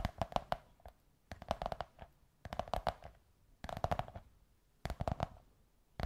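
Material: Cardboard.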